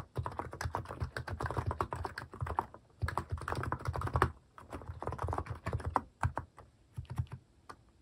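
Fingertips type on a cream plastic mechanical keyboard fitted with plastic cat and paw keycaps. Bursts of fast, clacky keystrokes with a deep, thocky low end run in three stretches separated by brief pauses. The last stretch thins into slower, scattered taps.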